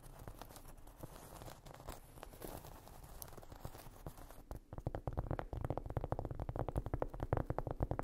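Long nails scratch across the surface of a large, solid, round cork trivet or coaster lying flat on a rug, making a soft, dull rasping. About halfway through, the scratching gives way to quick, rapid tapping with louder, muffled, low thuds that die away almost at once.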